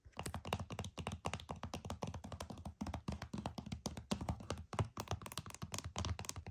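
Fingernails tap rapidly on the back of a flat, hollow plastic PS5 game case. The quick, dry taps have a low, hollow thunk, clicky bright edges and almost no ring, forming a dense, uneven rhythm throughout.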